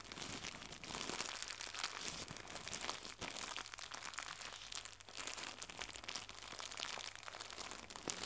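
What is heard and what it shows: Fingertips with red nails crumple and stretch a small white crinkly plastic gift bow, making a continuous, quiet, bright crinkling and crackling with sharp little snaps. The rustling stays high and dry, with a faint steady low hum underneath.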